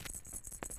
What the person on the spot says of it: shake the bronze medals it's nice and soft